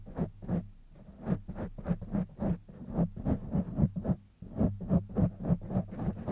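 Fingertips of both hands scratch the sides and top of a black foam windscreen on a silver condenser microphone. The result is a steady run of soft, muffled, rubbing scratches, heavy in the low end with almost no high treble. Each stroke swells and fades quickly in an uneven rhythm.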